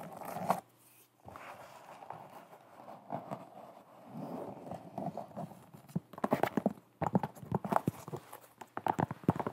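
Fingernails tap and scratch a white leather sneaker held in both hands, working over the leather upper and the edge of the sole. Soft, dry scratching fills the first half, then gives way to quick bursts of sharp, close taps with a midrange click around 860 Hz and almost no ring.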